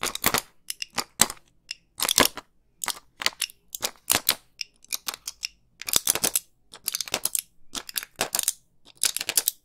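A small flat blister pack of white pills, with plastic bubbles on a foil backing, is held close to the mic and handled and tapped with long pink nails. The result is a run of sharp, bright crinkling clicks in irregular clusters, with almost no low end.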